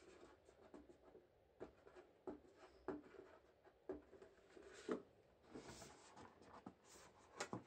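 Gloved fingertips scratch and rub the printed lid of a large, flat, rectangular tin-plate shortbread biscuit tin, which is full and held tilted. Soft, dry scratching runs throughout, broken by several sharp metallic ticks and taps with a mid-pitched hollow tone that dies away almost instantly. Bright hissy rubbing swells briefly near the end.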